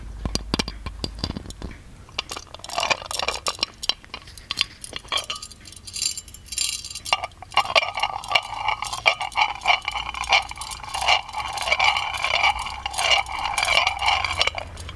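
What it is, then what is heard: Metal ornamental lamp, tapped and scratched. A hollow, ornate gold-plated metal magic lamp is held in the hands while fingernails tap and scratch its lid and body. Bright, short metallic clinks and ticks come in irregular clusters, mixed with thin scraping rasps. The taps grow busier and more resonant in the second half.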